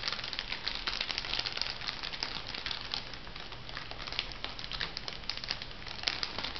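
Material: Plastic.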